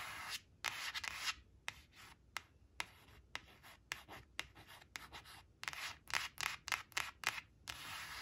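Long acrylic nails trace the number on a thin, flat laminated cardstock flash card reading "7 seven" that rests on a fabric tablecloth, rubbing and scratching its glossy surface. The result is a quiet, dry, bright scratchy rubbing made of quick, irregular strokes that start and stop sharply, with almost no low end.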